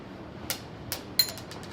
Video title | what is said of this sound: Pastry Chef Attempts to Make Gourmet Mentos - Gourmet Makes - Bon Appétit | can you hear that? The tapping? It taps.